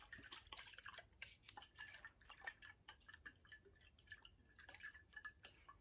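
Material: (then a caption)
Glass. A tall VOSS glass bottle partly filled with liquid is tilted and shaken sideways, so the liquid sloshes while fingernails touch the glass. Quiet, rapid, drip-like sloshes mix with short, bright clicks, and a faint ringing tone near 1.8 kHz comes and goes.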